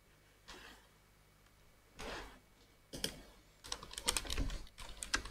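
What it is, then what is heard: Plastic computer keyboard. A black plastic full-size computer keyboard with hollow key switches is typed on with the fingertips of both hands. After a few soft, spaced taps, a burst of rapid, uneven, bright clicking follows. The clicks are short and dry, with a low thud under each.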